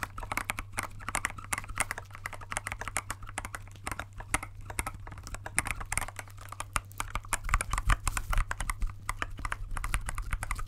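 Gloved fingertips press and tap the clear keycaps of a compact transparent plastic mechanical keyboard held upright, producing a rapid, continuous stream of short, sharp clicks and clacks. The clicks are crisp and quickly damped, over a steady low hum that runs through the whole clip.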